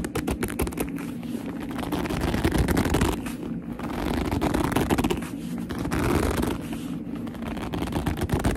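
A medium black leather handbag with a soft, hollow body is gripped and scratched by long almond-shaped nails and fingertips. The result is a steady, rapid, irregular stream of squeaky gripping, rubbing and scratching that sits mostly in the low-mid range with little brightness, swelling and easing slightly over the clip.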